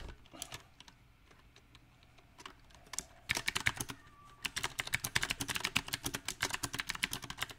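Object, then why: Mechanical keyboard with round plastic keycaps. Fingertip typing on a mechanical keyboard with round plastic typewriter-style keycaps on a silver metal frame. Sparse, soft key taps in the first three seconds give way to bursts of fast, irregular, bright clicking with short, dry decay.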